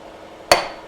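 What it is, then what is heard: Wheel bearing seal fully seated in hub. A hammer drives a metal grease seal or bearing race into a wheel hub, giving a single sharp metallic strike with a short ring around 700 Hz. The solid sound shows the part is fully seated.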